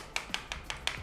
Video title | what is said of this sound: Realme bikin TWS langsung PATEN ??? Review TWS Realfit F3 ANC ENC Murah 100 ribuan bass nendang | padat buit quality-nya padat di harga Rp100.000-an